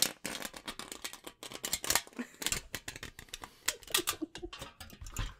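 A thin sheet of silver aluminium foil is held close to the microphone while fingertips crinkle, rub and pinch it. It makes a dense run of quick, bright crackles and crisp rustles that die away almost instantly.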